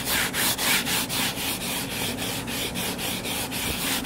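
Short fingernails scratch the cover of a closed hardcover paper book lying flat and solid. They make a steady run of quick, bright, papery scraping strokes in a brisk back-and-forth rhythm, with little low end.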